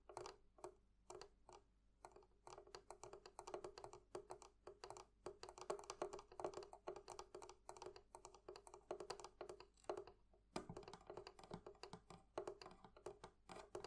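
The metal fittings of a wooden barrel chest from a thrift shop are tapped with nails and fingertips in a quick, steady stream of light clicks. The taps are short and dry with almost no ring, centered on a mid pitch. There is a brief pause just past ten seconds before the tapping resumes.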